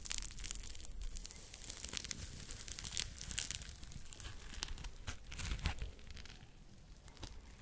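Fingertips squeeze and scratch a smiley-face foam scrub sponge held close to the microphone, working both the yellow foam and the pink scouring side. A dense run of bright, crinkly scratching and squishing textures sits over a soft low rumble, with sharper bursts in the middle before the sound eases off toward the end.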